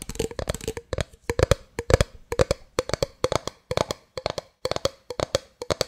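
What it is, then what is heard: Plastic drink bottle tapped with fingernails. A medium, hollow clear plastic drink bottle that appears empty is held in the hands and tapped and scratched with long fingernails. Quick bursts of short, dry, clicky taps carry a hollow tone near 500 Hz, with bright scratchy edges. Each tap dies away almost instantly, leaving brief silences between clusters.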